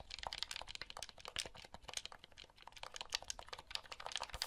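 Fingertips press the buttons and handle the casing of a small, hollow, blue plastic handheld game console. A quick, uneven stream of light, bright plastic clicks and taps comes through, each one short and dry with almost no low end.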